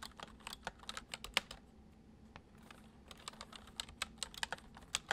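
Fingertips of both hands type fast on a full-size white plastic computer keyboard with hollow keys resting on a wooden desk. About twenty short, bright, clicky taps land in bursts, with a quieter pause in the middle before the typing picks up again. Each tap stops almost at once, over a faint low hum.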